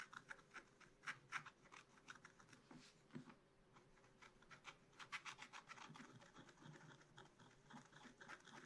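A wooden stylus scratches mushroom details into the black coating of a scratch-art card in a spiral book. Quiet, irregular short strokes make bright, dry scratching sounds that stop quickly with no ring, over a soft rasping background.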